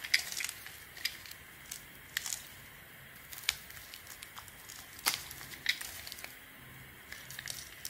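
A blade, held with a bandaged finger, shaves and scrapes the edge and surface of a solid, palm-sized beige Weleda bar of soap held in the hand. Dry, crackly scraping comes in short bursts, punctuated by sharp bright clicks as slivers cut away. The sound is thin and high with almost no low end.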